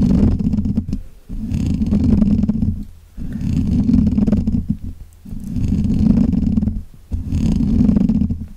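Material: Metal mesh.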